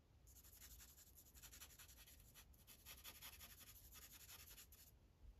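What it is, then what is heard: Marker coloring on paper over a clipboard. The felt tip of a grey Sharpie marker is rubbed back and forth over a thin paper coloring page resting on a clipboard, making quick, steady coloring strokes. Each stroke gives a soft, bright scratchy hiss over a faint low rumble, with a brief pause partway through before the strokes continue.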